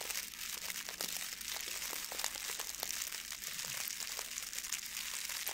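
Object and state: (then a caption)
Plastic foil gift bow. A blue metallic plastic ribbon gift bow is crumpled and rubbed between the fingers, giving a steady stream of bright, crisp crinkling with many quick, sharp crackles. The sound is almost entirely high and hissy with no low body, and each crackle stops almost instantly.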